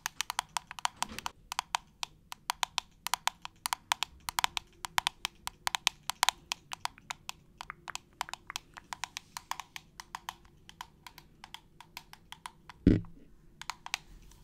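Long nails tap rapidly on the white plastic trigger head and clear plastic body of a hand-held trigger spray bottle, making about 70 short, dry, bright clicks with almost no ring. One louder, duller knock lands near the end before the light tapping resumes.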